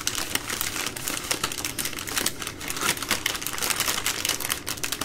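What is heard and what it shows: Long nails tap and scratch the soft plastic wrapping of a baby wipes multipack, a bundle of three full wipe packs, while hands squeeze it. The result is a dense, continuous run of bright, crisp crinkles and quick clicky taps with very little low end.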